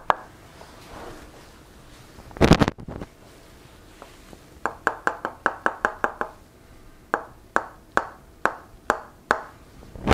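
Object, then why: Wooden mallet and wooden wedge. A solid wooden mallet repeatedly knocks a solid wooden tok sen wedge held against a seated woman's shoulders and head during a Thai hammer massage. Short, dry wood-on-wood knocks die away almost instantly, with a louder, denser burst of knocking early on. Then come quick rhythmic runs of evenly spaced taps, followed by a slower steady series.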